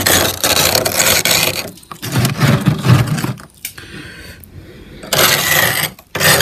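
A metal spoon held in a hand with painted nails scrapes solid frost ice on a freezer's wall and ceiling. Bursts of gritty, bright scraping with a low grinding undertone are broken by short pauses and a quieter, thinner stretch of scratching in the middle. The frost build-up is abnormal.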